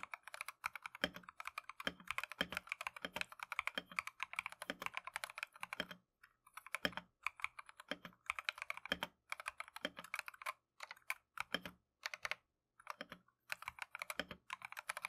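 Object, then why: Plastic mechanical keyboard. Gloved fingertips type continuously on a plastic Keychron V1 mechanical keyboard with Tangerine switches and green and cream Matcha PBT keycaps. The result is a dense stream of short, bright clicky taps with a midrange clack, broken by brief pauses near the middle and later in the clip.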